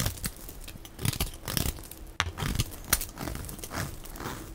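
A dark metal-edged blade is drawn across a solid, dry, hand-sized green oval soap bar with embossed lettering, held in one hand, shaving off thin crumbly flakes. Dry, crackly scraping strokes come in short bursts over a low background rumble, with bright crisp edges on the sharper cuts.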